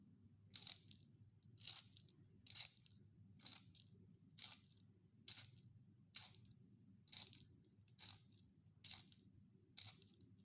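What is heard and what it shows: A small, finger-sized solid wooden graphite pencil is twisted by the fingertips inside a small yellow plastic sharpener, its metal blade shaving the wood into curly shavings. Eleven bright, crisp scraping bursts come at a steady, slightly uneven pace over a low, constant background hum.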